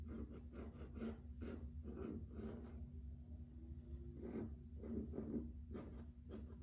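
Fingertips and nails tap and scratch on a grey wood-grain laminate plank floor, making soft, dry bursts of scraping and tapping. A steady low hum runs underneath at a quiet level.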